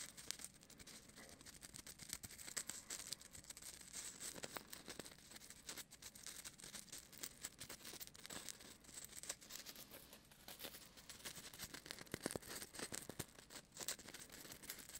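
Fingertips and nails scratch and rub the surface of a small, white, solid styrofoam ball held in one hand beside the microphone. The result is a steady stream of quiet, dry, bright crackling and squeaky scraping, mostly high with little low end. Each tiny scratch stops dead with no ring.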